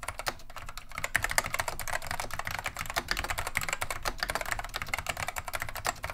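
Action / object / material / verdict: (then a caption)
tap / plastic mechanical keyboard with Alps switches / plastic / none. Continuous two-handed fingertip typing on a beige plastic vintage Wang 725 mechanical keyboard with Alps switches produces a rapid, steady stream of short, bright clicks. The keystrokes run together with little decay between them and a faint low rumble underneath.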